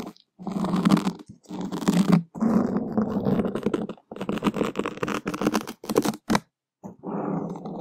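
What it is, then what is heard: Foam microphone windscreen being scratched. A black foam microphone windscreen is scratched with wooden skewers, making close, muffled scraping and crunching. The sound comes in uneven bursts separated by brief silences, with most of the energy low and little brightness.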